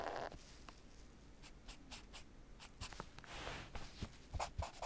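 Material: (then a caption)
Nylon. A fingertip or small tool traces and scratches along the printed Babolat lettering on a black padded nylon tennis racket cover. Quiet, dry scratching and rubbing strokes come in short bursts, with a few sharper, brighter scrapes near the end over a low background rumble.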